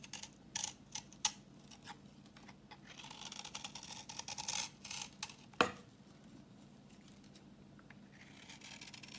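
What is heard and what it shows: A solid, translucent orange bar of dry vintage soap, held in the hand, is scraped with a utility knife blade and comes away in crumbly yellow shavings. The scraping comes as a series of short, dry, bright rasps and ticks at an uneven pace over a soft steady hum. A sharper click stands out partway through.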